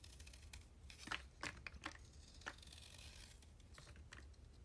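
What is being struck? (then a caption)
Chalk stick scraped with a blade. A utility blade shaves and scrapes the surface of a solid, hand-sized cylindrical stick of soaked yellow chalk held in one hand, carving soft flakes off over a blue plastic tray. Short, bright, crisp scraping strokes sit over a steady low hum, with a few louder cuts standing out around the middle of the clip.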